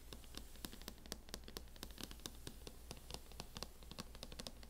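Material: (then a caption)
Plastic. Long acrylic nails tap and scratch quickly across a closed MacBook in a mint matte plastic hard-shell case. The result is a rapid stream of short, crisp clicks with bright, dry ticks and scratchy texture over a steady low hum.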